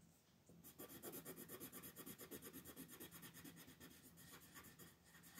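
A pink colored pencil shades in continuous back-and-forth strokes near the outer ring of a flat white paper mandala sheet on a table, while the other hand rests on the sheet. After a faint start, a steady, quick run of soft, dry, scratchy rubbing strokes follows, about two per second, each with a bright papery hiss and almost no ring.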